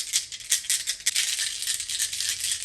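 A mixed crystal confetti of soft and hard polished crystal stones, including calcite, quartz, hematite, pyrite, obsidian and sodalite, is shaken together, giving a bright, dense clicking rattle with a few sharper clacks in the first second. The soft stones come through unharmed, unscratched just from sitting next to the harder ones.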